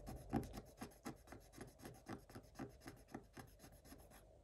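A thin wooden stylus scratches rapidly across a black coated scratch-art paper page in a spiral book. About 21 short, dry rasping strokes come at a quick, uneven pace, each a soft scrape with a low body and a faint bright hiss. The strokes fade slightly toward the end.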